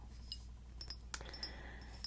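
Light clinks and taps on a Bvlgari frosted glass perfume bottle with a gold top, each giving a short, bright glassy ring. The taps are quiet and spaced out over a steady low hum.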